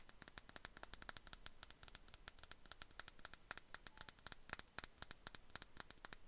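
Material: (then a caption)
Glass. A small clear glass perfume bottle with a bow cap, held in both hands, is tapped and scratched with long nails. Dozens of quick, quiet, bright clicking taps come in a steady, uneven stream, each dying away almost instantly over a faint scratchy hiss.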